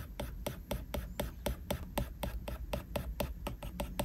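A plastic Apple Pencil tip rubs back and forth rapidly across a flat glass iPad screen, making many taps. Short, dry ticks with bright edges repeat about four times a second in an uneven rhythm over a low, steady hum.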